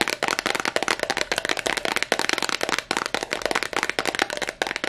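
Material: Glass.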